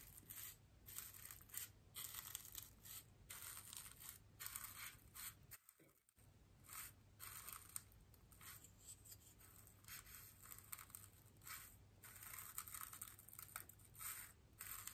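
The bristles of a small paintbrush are pressed and brushed against a large, white, solid styrofoam wreath ring held upright. Bright, dry scratching strokes come in repeated bursts with a steady low hum beneath, pausing briefly at about six seconds before the brushing resumes.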